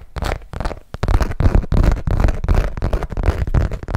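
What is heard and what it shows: A long hot-pink Michael Kors zip-around wallet of textured saffiano leather, small and hollow, is held in both hands and tapped and scratched with long nails. Quick, irregular taps and scraping strokes follow one another closely, with a dull, low-heavy thump and brief crackling texture.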